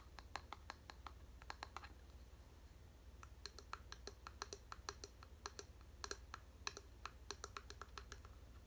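Long painted nails tap and scratch the striped wooden back of a medium bamboo paddle hairbrush held in the hands, then move to its bamboo pin side. The result is a quiet, rapid run of short, sharp, bright clicks with very little ring, over a steady low hum.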